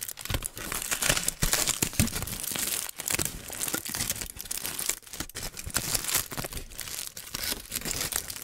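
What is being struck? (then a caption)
Aluminium foil sheet. A crumpled sheet of aluminium foil, wrapped around the top of a microphone and held in the hand, is crinkled and squeezed by fingertips. It produces a dense, continuous stream of bright crackling and crinkling with sharp snaps. The sound swells and dips over the clip, with a few brief near-silent gaps.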